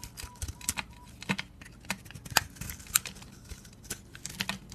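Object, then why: Bar of soap. A utility blade shaves the teal layer of a solid, decorated purple-and-blue bar of dry soap held in the hand, peeling it into curls. The result is a quiet string of crisp, dry scraping crackles and sharp bright ticks with almost no ring, plus a faint steady mid-pitched tone near the start.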